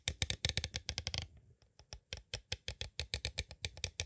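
Two green plastic stick tools tap fast on the edges of a small, hollow, clear plastic cassette tape case. A quick burst of bright, clicky taps is followed by a brief near-pause and sparse ticks, then a steady run of sharp taps. Each tap dies out almost instantly, with little low thump.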